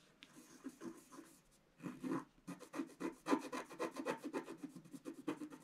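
A wooden stylus scratches the black wax coating off a flat, thin scratch-art paper page in a book, held down by one hand, revealing the colours beneath. Soft, dry scratching strokes come in quick, uneven repetitions, about four per second, each a brief gritty rasp with a low-mid body and a faint bright hiss. After a short quiet pause, the strokes return denser and slightly louder.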